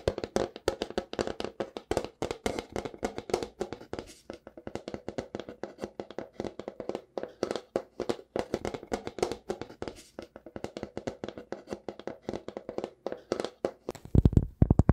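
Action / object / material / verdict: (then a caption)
tap / thin wooden plate / wood / none. Fingertips and nails rapidly tap and scratch the underside of a large, thin, round wooden plate with strong grain, possibly acacia, held upright. A steady stream of short, dry, hollow taps with a low, woody body and almost no ring continues throughout. The taps grow louder and heavier in the final second.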